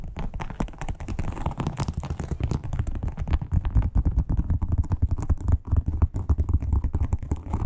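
Long acrylic nails tap rapidly on a flat red crocodile-textured, croc-embossed leather wallet, making a dense run of short, dull, low thuds with almost no high content. The taps come fast and overlap into a steady, muffled patter throughout.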